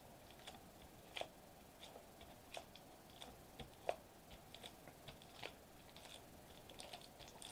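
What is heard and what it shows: Fingertips and short nails tap quickly on a flat silver metallized plastic bubble wrap sheet resting on a white table. The result is a quiet, irregular series of short, dry crinkly taps with a mid-pitched knock and a bright, papery crackle that dies away almost instantly.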